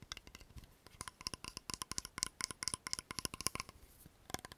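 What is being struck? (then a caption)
Plastic cosmetic bottle with liquid. A tall blue plastic toner bottle with liquid inside is tapped rapidly with nails and tilted or shaken in the hands. The result is a quick string of sharp, dry, bright clicks with almost no ring, bunched in fast irregular bursts.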